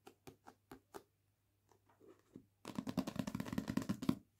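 A paperback novel with a glossy card cover lies on a table while fingernails tap its page edges and back cover: five crisp, evenly spaced taps, then a few softer, duller ones. Fingertips then scratch the front cover in a dense, rapid, rustling scrape that fills the last couple of seconds.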